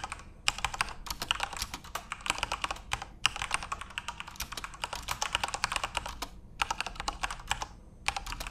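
Fingertips type on a full-size RGB-backlit Corsair mechanical keyboard with plastic keycaps. Rapid, bright, clacky keystrokes come in bursts, each click short and dry, with brief pauses between runs of typing.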